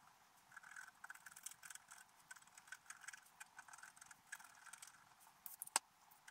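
A wooden stylus scratches details into a flat, black-coated sheet of scratch art paper. The result is a quiet run of many short, dry, bright scraping strokes with no low end, ending in one sharper, louder scratch just before the close.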